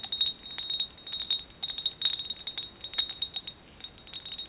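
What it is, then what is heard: Ceramic mug. Fingernails tap continuously on a ceramic Hello Kitty mug decorated with Sakura flowers and a teddy bear, producing a rapid, uneven series of light clinks. Each tap is short and bright, with a chime-like ring centered near 3.7 kHz and almost no low end.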